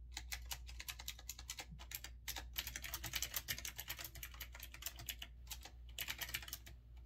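Fingertips type rapidly on a retro typewriter-style mechanical keyboard with round keycaps, producing a dense stream of sharp, bright clicks that decay almost instantly. A steady low hum sits underneath the quick, uneven keystrokes throughout.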